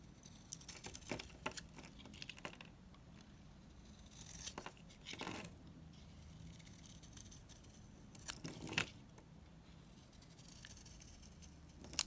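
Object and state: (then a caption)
Dry bar soap being cut. A solid, rectangular bar of dried green soap is held in the hand and cut in strokes with a yellow utility knife, with shavings piling up. Bright, dry scraping and crumbly crunching bursts come at irregular intervals over a quiet background, with sharper cracks near the middle and at the end.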